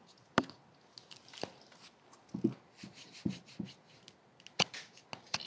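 A small solid orange bar of soap, held in one hand beside a binaural dummy-head microphone, is scraped and carved with a small metal carving tool held in the other hand. Short, dry scratching and shaving strokes come at an irregular pace, some sharp and bright, others duller and low, over a quiet background.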